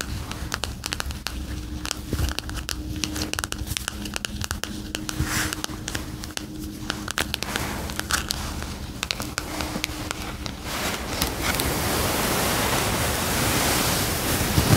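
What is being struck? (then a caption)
Paperback book with glossy paper cover. Long acrylic nails and fingertips tap and trace across the glossy paper cover of a paperback word-find puzzle book lying flat on a fluffy rug. For about the first eleven seconds there are rapid, uneven, crisp clicks over a faint low hum; then the sound becomes a steadier, louder, bright scratching as the nails trace across the cover.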